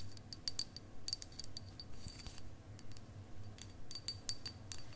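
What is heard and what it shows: A long, solid, faceted clear quartz crystal point is held horizontally near the mic and tapped and scratched with long acrylic nails. Quick, uneven clicks with a bright ringing tone sound over a low rumble, and a soft scratching passage is heard in the middle.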